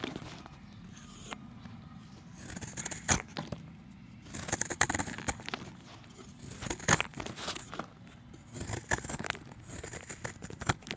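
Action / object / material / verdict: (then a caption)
scrape / chalk block / chalk / none. A solid round grey chalk disc held in the hand is scraped with a utility knife blade, breaking off chunks and powder. Irregular bursts of gritty, crumbly scraping with a bright, high hiss are punctuated by sharp clicks and snaps, separated by brief quieter stretches.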